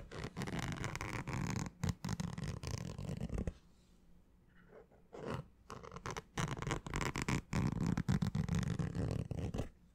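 Fingernails scratch the fabric crown of a green structured snapback baseball cap with a stiff brim, held up close to a microphone. Dense, rapid scratching with a low rumble fills the first few seconds, goes nearly quiet with only faint scratches around the middle, then returns in steady, intense bursts to the end.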